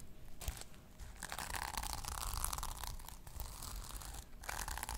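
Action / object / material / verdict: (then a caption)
scrape / sequin-covered fabric pouch / sequins / none. Long nails scratch and brush across a small flat pouch covered in pink sequins, held in one hand. The sequins give off a continuous bright, crunchy, crinkling rustle with a steady low rumble underneath, briefly dipping in loudness between strokes.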